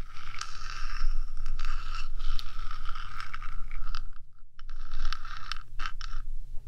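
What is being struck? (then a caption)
Metal microphone housing. Long nails scrape along the top of a 3Dio microphone's hollow metal box, first with both hands and then with one. A steady, scratchy rasp with a ringing metallic tone rides over a low rumble, with bright streaks as the nails catch. The scraping briefly drops out near the four-second mark before resuming.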